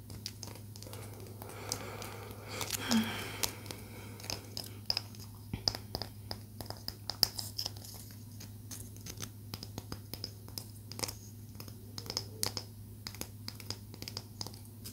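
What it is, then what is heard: Palo santo wood stick. A small solid palo santo wood stick, held upright and sideways, is tapped and scratched with long nails, giving dozens of quick, dry, bright clicks and scratchy strokes that die away instantly. A brief louder rustle swells near the three-second mark, and a steady low hum runs underneath throughout.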